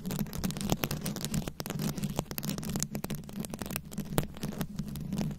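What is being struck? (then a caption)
Microphone head covered in small plastic rhinestones, scratched and tapped with long nails. A fist-sized microphone head fully covered in small round rhinestones, likely plastic, is scratched and tapped with very long acrylic nails. The result is a dense, continuous crackle of quick scratches and sharp clicking taps over a steady low hum.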